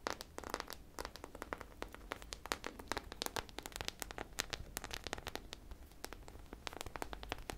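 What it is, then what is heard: Sprinkle-covered foam squishy toy. A solid, hand-sized foam squishy ice cream popsicle toy coated in multicolored sprinkle beads is held in both hands and scratched and tapped with long painted nails. It produces a steady run of dense, crinkly, bright clicks over a low rustling bed.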